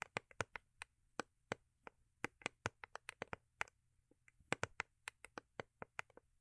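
Long acrylic nails tap a small, rigid, hollow cardboard gift box with a holographic foil-paper covering, held in the hands. About 27 quick, dry, bright clicks come in an uneven rhythm, each stopping at once with no ring. The tapping is quiet, with a faint low hum underneath.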